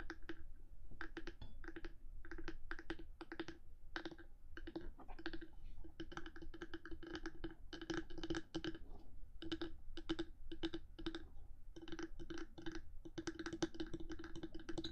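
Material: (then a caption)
Hard plastic. Long pale nails tap and scratch the top of the black, hollow hard housing of a 3Dio binaural microphone, between its two white silicone ears, while the microphone sits still. Quick, dry clicks come in dense bursts, each with a short hollow knock around 330 Hz and bright ticking edges, mixed with brief scratches. A steady low rumble runs underneath throughout.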